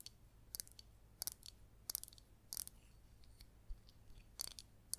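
Long green nails tap on a palm-sized, hollow, green glazed ceramic cactus-shaped pot holding an artificial yellow succulent. The result is a run of quiet, sharp, bright clicking taps in small clusters that stop dead with no ring, over a faint low hum.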